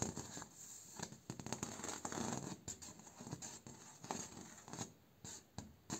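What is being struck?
Bamboo slat door.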